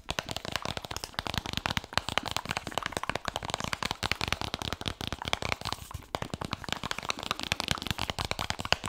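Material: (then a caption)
Laminated cardboard. Fingertips and nails tap rapidly and scratch on the glossy laminated cardboard cover and edge of a large, solid hardcover book held close to the microphone. Dense, crisp clicks and scratchy rustles run continuously with bright, high detail and very short decay.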